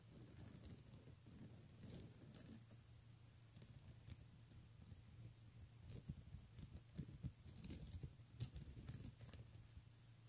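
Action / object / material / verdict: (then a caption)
tap / plastic beaded handbag / plastic beads / none. Fingernails scratch and tap across rows of beads on the front of a pink plastic beaded handbag. The result is a quiet, soft patter of light clicks over a low steady hum, with brighter ticks now and then.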